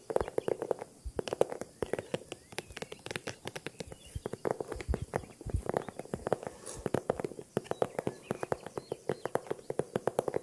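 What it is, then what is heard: Small handbag tapping. A small, favourite handbag is tapped with quick, light taps in a steady, irregular stream over about ten seconds. Each tap is short and dry with almost no ring, giving a soft, hollow knock centred in the low mids and little high-end sparkle.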